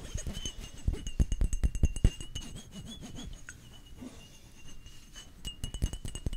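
Fingertips and nails tap and rub along the flat sides of a hand-sized, rectangular, solid-walled opaque white glass Gucci Bloom perfume bottle. A quick, uneven run of short, dull clicking taps gives way to softer rubbing in the middle, then the tapping returns toward the end. A faint steady high tone sits underneath throughout.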